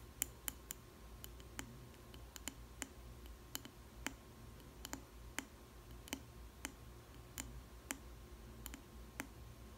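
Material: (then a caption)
Glass. Long red nails tap the base of a small square clear glass food container with a plastic lid, holding a slice of bread. A steady series of sharp, bright clicks sounds over a low, quiet background hum, with each tap cutting off almost instantly.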